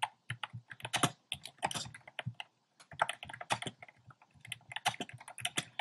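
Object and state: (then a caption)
Plastic mechanical keyboard. Fingertips type fast and densely on a compact plastic mechanical keyboard with round pastel plastic keycaps in a dark frame. Rapid, bright, clacky keystrokes blur into bursts, with a brief pause partway through before the typing resumes.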